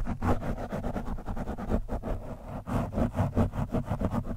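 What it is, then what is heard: Foam microphone windscreen scratched with a screwdriver. The thin steel shaft of a screwdriver scratches and pokes a soft, porous orange foam windscreen on a microphone. The result is a steady run of rapid, muffled scraping and thumping bursts, heavy in low rumble with little bright content.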